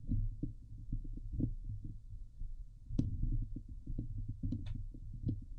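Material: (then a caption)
Steel mesh. Long nails and fingertips scratch and grip the hollow steel wire-mesh dome grille of a Blue Yeti microphone. The sound is a dense run of dull, low thumps and muffled rubbing, with a few brief bright scratchy spikes near the middle and end.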